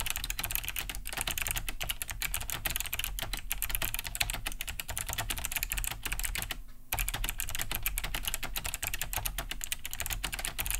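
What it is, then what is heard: Plastic mechanical keyboard, clicky switches. Both hands type fast with fingertips on a large beige Cherry G80-3000 mechanical keyboard fitted with Kailh BOX White switches, with a hollow plastic case and thick plastic keycaps, resting on a wooden desk. Dense, bright, clicky key-switch taps run continuously over a steady low hum, breaking off briefly just before the seventh second before resuming at the same fast pace.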